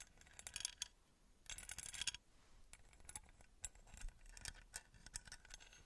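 Long nails tap and scratch across the engraved faces of a small copper-colored metal pyramid held up in one hand. The result is quiet, bright, sharp clicks that die away almost instantly, mixed with denser scratchy bursts early on and a steady run of light ticks afterward.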